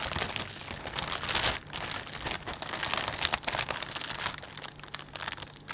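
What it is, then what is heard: Plastic bag of potato chips. A hand grips and crinkles the surface of a clear plastic bag full of potato chips. The result is a continuous, bright, dense crackling of many quick overlapping crinkles, loudest in a burst about one and a half seconds in, then steady and gradually quieter.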